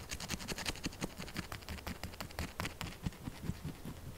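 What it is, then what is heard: Soap bar. Long acrylic nails tap and scratch fast on a solid, held pink soap bar with small holes. A rapid run of short, dry clicks blends a dull low thump with bright ticks, each dying away almost at once.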